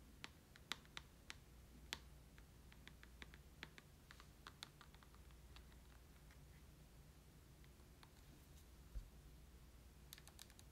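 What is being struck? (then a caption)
Handheld game console with glass screen and plastic body. A handheld Nintendo Switch console with a glass screen, plastic body and red and green Joy-Con controllers is held in the hand while its screen is tapped with short nails and fingertips. The result is quiet, sharp, clicky taps scattered irregularly over a low steady hum, with a final cluster of quick taps at the end.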